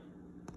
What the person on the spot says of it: if you tap the top the buns they're going to sound hollow